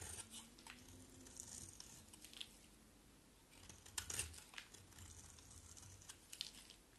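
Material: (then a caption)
Soap. A round, solid, red-striped bar of soap held in the hand is shaved with a box cutter blade. The blade makes quiet, flaky scraping strokes with bright, crisp crackle, plus a few sharper scrapes near the middle and end.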